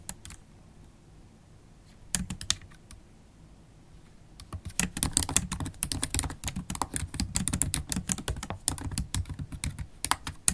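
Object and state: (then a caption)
Laptop keyboard with plastic keys. Long holographic acrylic nails type on the black plastic keys of a MacBook Pro laptop keyboard. After a few scattered taps and a short burst around two seconds, the typing turns into a fast, steady stream of crisp, bright clicks with dull low thumps under each keypress.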